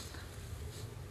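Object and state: Nothing is struck.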